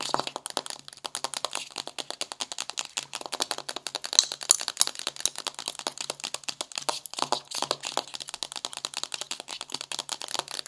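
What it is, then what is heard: Cardboard eyeshadow palette. Green-painted nails tap quickly on the cover and edge of a flat magenta, wave-embossed cardboard eyeshadow palette lying on a white table. The result is a rapid, typing-like stream of short, dry, bright clicks with almost no ring and no low end.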